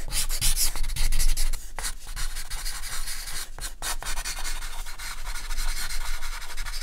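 A hand draws quick strokes and hatching with a compressed charcoal stick on a large white sheet of artist's drawing paper lying flat on a table. The charcoal makes a steady, dry scratching and rubbing across the paper surface, with bright hiss over a low rumble and brief pauses between bursts of strokes.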